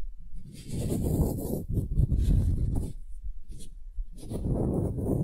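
A solid pale wooden cube is held upright in both hands while long nails scratch its lower end-grain face. The result is a dry, low, rasping scrape in bursts, with a faint high hiss above it.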